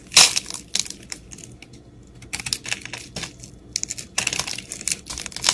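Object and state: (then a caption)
Soap bar being carved. A utility knife blade scrapes the crumbly surface of a solid, round, pink-speckled, palm-sized soap bar held in the hand, carving chunks out of it. Bright, dry, crunchy scrapes and crackles come in irregular bursts separated by short quiet gaps, and each burst dies away almost at once.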